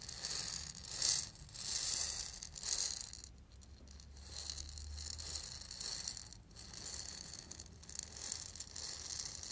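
A small hollow lacquered, painted wooden ball rattle is held close and shaken and rubbed with the fingers. It makes soft, bright rattling and rustling bursts that swell and fade over a faint low hum.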